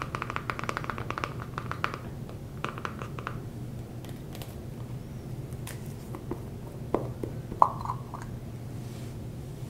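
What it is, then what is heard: Plastic grooming jar, tapped and scratched. Fingertips and short nails scratch and tap the sides and ridged screw lid of a small, dark, likely plastic Every Man Jack beard balm jar held in one hand close to the mic. A quick run of dry, clicky taps with a hollow ring around 1 kHz gives way to soft scratching over a steady low hum. Louder, sharper taps near the end stand out.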